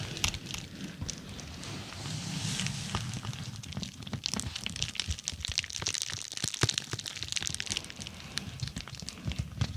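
Long nails scratch the textured surface of a dark, glossy plastic bubble mailer laid over the microphone. Dense, bright crinkling and scratching is broken by sharp plastic clicks and ticks over a low, muffled rumble.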